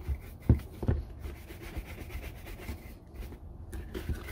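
A brown leather Red Wing Iron Ranger boot, hollow and empty and held in one hand, is brushed back and forth with a red-handled horsehair brush. The result is a quiet, low, dull rubbing sound with a few soft, louder thuds near the start and one near the end.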